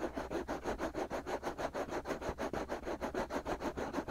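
Fingertips and short nails scratch and rub the outer shells of two soft, hollow, white silicone ear-shaped pieces on a binaural microphone. Quick, steady strokes repeat at about three per second, each a dry, rasping scratch that is strongest in the low-mid range with a brighter hiss on top.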